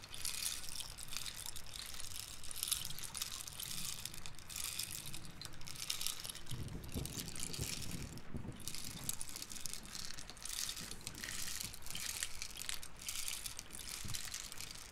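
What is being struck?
Hollow wooden rain stick with loose filling.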